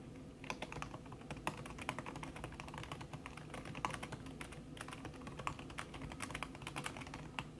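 Fast typing with fingertips and long red-painted nails on a thin backlit aluminium keyboard whose plastic keys sit under a red silicone skin. The result is a dense, steady stream of quick, dry, muffled taps with sharp bright clicks from the nails, over a low, steady hum.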